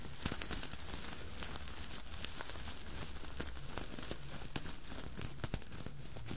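Long nails scratch and fingertips rub over the sequined surface of a red Santa hat with a soft fabric body and a white plush pompom and brim. The result is a steady dry crinkling and scratching, broken by sharp bright clicks from the sequins, over a low rumble.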